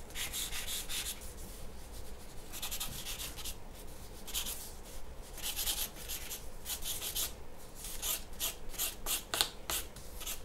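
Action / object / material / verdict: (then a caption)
scrape / graphite pencil on a paper drawing sheet / paper / none. A graphite pencil is drawn in long strokes across a large, flat white paper sheet resting on a wooden table. It makes soft, bright, raspy scratching bursts that come in quick repeated strokes over a low, steady background hum.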